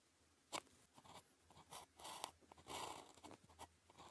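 A ballpoint pen held in the fingers writes characters on a flat sheet of thin paper with a red grid. The pen scratches out short, dry strokes, with a sharp tap near the start and bright, crackly sweeps in between. The strokes come in uneven bursts over a quiet background.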